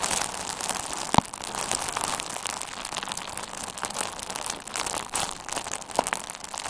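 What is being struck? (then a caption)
Plastic bubble wrap. A hand-sized bundle of pink and red plastic bubble wrap with hollow, air-filled bubbles is squeezed with the fingertips of both hands. It makes steady, bright crinkling and rustling, with two sharper pops standing out near the start and the end.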